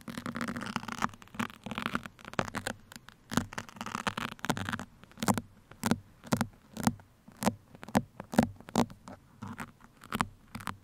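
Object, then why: Foam microphone windscreen scratched with steel pins. Two steel pins held between the fingers scratch across both sides of a black foam microphone windscreen. The first half is a dense, continuous rasping scrape. It then breaks into many short, separate scratching strokes with a low, muffled body.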